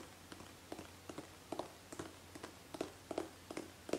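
Long painted fingernails tap along the side of a hollow gold metallic aerosol hairspray can held horizontally. About fifteen quick, quiet, irregular taps give short, hollow metallic ticks with a brief ring around 300 Hz and a faint bright edge.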